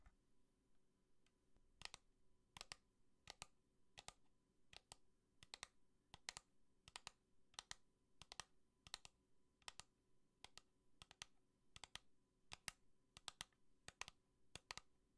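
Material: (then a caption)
Plastic. A pink plastic bunny lamp with a black base, held on its side, is tapped with long nails. It gives quick, sharp, bright clicks in a steady run of double taps over a faint low hum.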